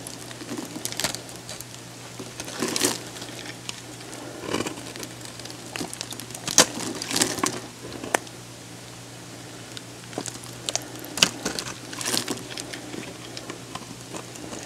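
A dried, solid blue oval bar of soap, hand-sized and held in one hand, is shaved with a metal box-cutter blade into crunchy slices. Bright, crisp scraping and crackling cuts come in irregular bursts over a steady low hum, each snapping off sharply.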